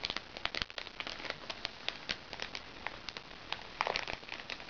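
Fingernails scratch and tap the surface of a small, crinkly recycled plastic makeup bag. The result is a quiet, bright crinkling and crackling, broken by many sharp, dry clicks that die away instantly, with very little low end.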